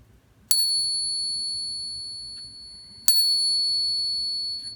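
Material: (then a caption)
Silver. An 1886 Morgan silver dollar, the real coin of a real-and-fake pair, is given a ping test and struck twice. Each strike gives a bright, bell-like tone that rings out for several seconds. The sound is the expected ring of a genuine silver dollar.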